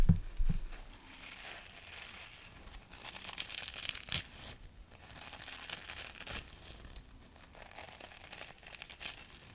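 Both hands squeeze, rub and crinkle a small, soft, porous, dry light green synthetic mesh sponge pad close to the microphone. A couple of louder low thumps open the clip, then a steady, uneven stream of soft crinkling and rustling follows, with bright airy scratches coming in and out.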